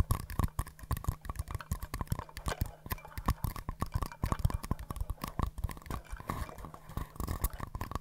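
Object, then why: Small paper cups. Two small, empty, hollow green-and-white paper cups are held close to the mic, tapped with long nails and knocked together. The result is a quick, dense run of dry, soft clicks and hollow knocks, mostly low and thumpy with very short decay and a faint steady hum beneath.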